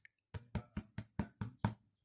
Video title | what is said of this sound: This is a really good bread. 75% hydration. | a hollow sound to it that means it's cooked